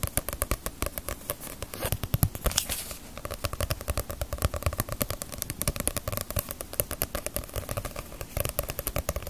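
A small, solid Bleach paperback manga volume with a glossy paper cover is held in the hands and tapped and scratched on the cover with long nails. Rapid, dense taps give short, crisp clicks over a soft, hollow low thud, with a brief brighter scratching stretch in the middle. The tapping continues steadily at a quiet, close level throughout.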